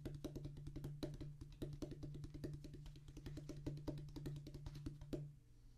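Rapid fingertip drumming with both hands on a flat, solid drum practice pad with a black rubber top on a tan cork-like base. A fast, dense run of dull, short taps with little ring sits over a steady low hum that stops near the end, leaving quiet.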